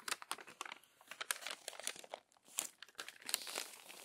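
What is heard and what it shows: Crinkled pages of a glossy paper magazine are turned and smoothed by hand, giving a dense run of dry, bright crinkles and crackles. Many short rustling bursts overlap with almost no low end and no lingering ring.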